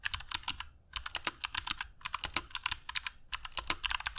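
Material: Plastic.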